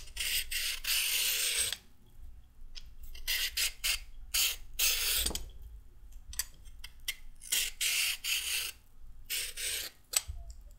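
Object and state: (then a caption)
Raw carrot being peeled. A solid raw carrot is held in the hand and peeled with strokes of a pink-handled metal-blade peeler, the peel ribbons falling onto a wooden table. Each stroke gives a bright, raspy scrape, mostly high-pitched with a faint low thump, in irregular bursts of varying length separated by quiet pauses.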